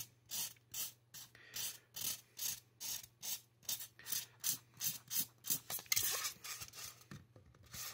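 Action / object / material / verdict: scrape / polystyrene foam mannequin head scratched with a marker / polystyrene foam / none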